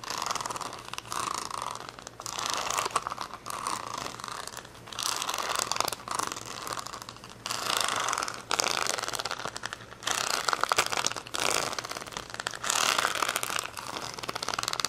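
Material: Plastic.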